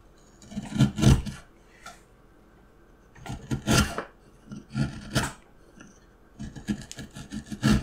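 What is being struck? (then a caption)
Small wooden carving block. A steel carving knife cuts and scrapes the patterned surface of a small, solid, light wooden block, and shavings fall onto the mat. Bursts of dry, rasping scrapes come in uneven clusters with quiet pauses between them, with low-end thumps under bright, gritty strokes.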